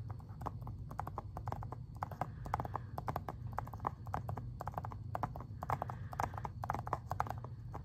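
Fingernails tap and scratch the front cover of a hollow, hard plastic Xbox 360 game case for Spider-Man 3, held upright. Rapid, dry clicking taps sit around 800 Hz with a faint bright edge and die away instantly, over a steady low hum.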